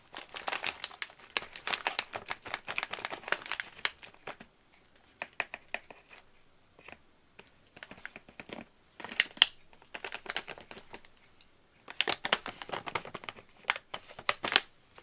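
A medium-size, partly full barbecue corn snack bag of thin metallized plastic, closed with a wooden clothespin, is gripped and squeezed by fingertips. This makes bursts of bright, dry crinkling and crackling, dense for the first four seconds, sparse in the middle, then heavier again near the end. Each crackle is sharp and dies away almost at once.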